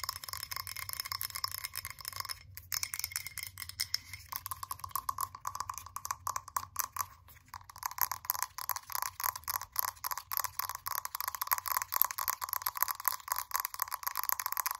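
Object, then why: Frosted glass candle jar. Long nails tap rapidly on the sides of a blue frosted glass candle jar, then on its bottom where a label sticker sits. The quick, dense clicking is bright and glassy with a ringing tone, and each tap dies away almost at once.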